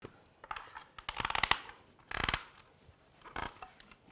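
A wooden peg is driven into a timber joint, producing bursts of sharp, bright wooden clicks and creaks, densest in rapid clusters around the middle of the clip. The joint goes together tightly and firmly.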